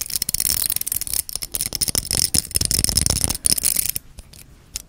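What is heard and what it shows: A small, solid, wide-tooth translucent amber plastic hair comb has its teeth strummed, scratched and tapped with long red nails. The result is a dense run of bright, crackly clicks and rattling ticks concentrated in the high frequencies, with a few duller taps underneath. It thins out to sparse soft ticks near the end.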